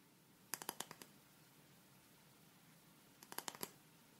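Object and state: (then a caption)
Plastic spray bottle. Long red nails tap and scratch a small, hollow, pale pink plastic spray bottle with a clear cap, held in both hands. Two quick bursts of sharp, bright clicking taps are separated by a quiet pause of about two seconds. Each tap is crisp and dies away almost instantly over a faint background hiss.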